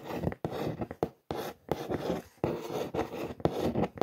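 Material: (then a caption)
Cardboard. Long nails trace and scratch across the printed logo and text on a large brown corrugated cardboard shoe box. The result is a series of dry, rasping scratch strokes separated by brief silent gaps, with the energy sitting mostly in the low mids.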